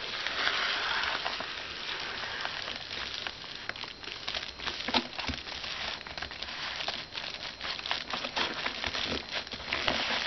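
Fingertips and short nails lightly tap and scratch the surface of a flat white paper padded mailer lying on a desk with a book inside. The result is a steady, quiet run of dry, bright crinkling and scraping, broken by soft, irregular little taps.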